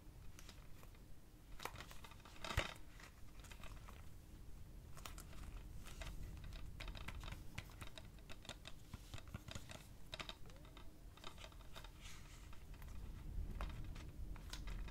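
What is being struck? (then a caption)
Plastic DVD keep case. Fingertips and short nails tap across the cover of a red, hollow plastic DVD keep case for the film 'Damsels in Distress' as it is turned front and back. The result is a dense run of quick, dry clicks and light crinkly rustles with very little ring, over a steady low rumble, with a few sharper taps standing out.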